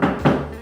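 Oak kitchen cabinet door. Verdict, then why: Solid. Two knocks on a solid oak kitchen cabinet front give dull, low wooden thuds around 145 Hz with little high content. Each knock dies away within about a fifth of a second. The result is a solid, dense, quality-sounding door.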